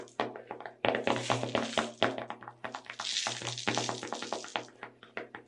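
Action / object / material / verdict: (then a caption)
tap / small plastic tub of sugar sprinkles / plastic / none. A small clear plastic tub full of sugar sprinkles is tilted in the hands while its lid and walls are tapped with long red nails. The result is a rapid, irregular series of short, dry plastic taps and clicks, with a brief hissy rattle of the sprinkles shifting inside.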